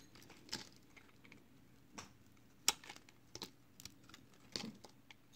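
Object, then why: Soap bar shaved with a knife blade. A hand-held, palm-sized, solid block of green and yellow marbled recycled soap is shaved and scraped with a utility knife blade, and the soap flakes pile up below. Six short, dry, bright scraping strokes stand out over a quiet background, each cutting off almost at once with no ring, and one sharp stroke near the middle is the loudest.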